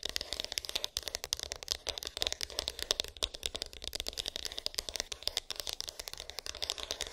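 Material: Cardboard.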